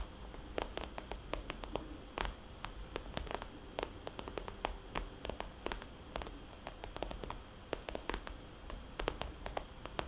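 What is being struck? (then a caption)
Soft vinyl cosmetics bag. Long painted nails of both hands tap rapidly on a small, rounded, red polka-dot glossy vinyl cosmetics bag that sounds soft and hollow. Quick, sharp clicks with a bright edge die away at once, scattered irregularly over a steady low hiss and rumble.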